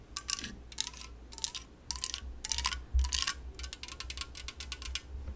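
Long nails tap an unopened LaCroix aluminum can on its side and top in quick clusters of bright, clicky taps. Each burst carries a faint metallic ring near 1 kHz that fades within a fraction of a second, over a steady low hum.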